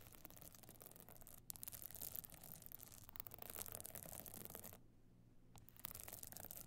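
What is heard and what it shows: Long fingernails on both hands scratch across a small, flat, hollow evening clutch covered in glittering stone or sequin chips with a gold metal frame. The result is a dense, bright, rasping scratch over a low rumble, with a brief break near 1.5 seconds and a quieter, duller stretch just before the scratching picks up again at the end.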